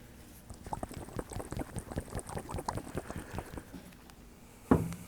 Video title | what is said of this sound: What's up with the '69 Citroën DS's Suspension Balls? CAR WIZARD cuts to the answer! | you can hear fluid moving around inside ... you would not hear that if this had 3000 PSI in it